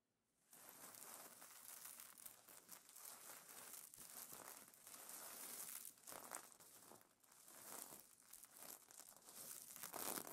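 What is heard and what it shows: Hands rub and fingernails scratch across the plastic sequins of a sequin pillow cover, producing a dense, continuous crinkling and rustling with bright, high clicks. The texture starts after a brief silence and keeps up irregularly with rapid small surges throughout, with little low-end weight.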